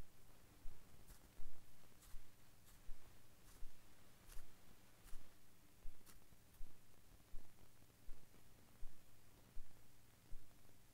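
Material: Nothing is struck.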